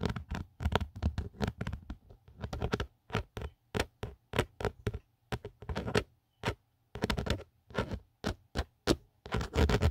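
A fingertip and nail tap and scratch around the embossed logo and the edge of an empty black Otterbox phone case with a textured hard plastic outer back. Dozens of quick, dry taps and short scratchy strokes come in an irregular patter with brief pauses between them. Each sound is mostly low and thuddy and stops almost instantly with no ring.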